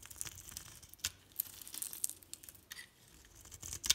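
A metal utility blade shaves and scrapes thin curls off the surface of a solid, rectangular, hand-sized bar soap with a pink outer layer and green core, held in the palm. Quiet, bright, crinkly scraping comes in short bursts, with sharp crisp ticks as the blade catches and curls peel away.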